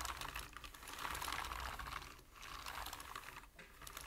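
Rapid tapping on a full-size black plastic membrane computer keyboard with hollow keys, typed with the fingertips of both hands. A dense, uneven stream of light clicky clacks centered around 1.1 kHz with bright edges swells and dips across the clip, easing briefly around 2.3 and 3.5 seconds.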